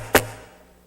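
A pulpit is knocked once, giving a single short, sharp knock with a quick decay. No material is given, but the knock has its own distinct sound.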